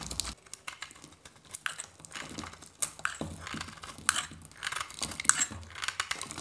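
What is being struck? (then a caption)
Bar of soap scraped with a metal knife. A metal knife blade scrapes and shaves a hand-held, solid white dry soap bar, peeling curls of soap off it. The result is a run of dry, crisp, crackling scrapes and short bright snaps. There is almost no low end and no ringing after each stroke.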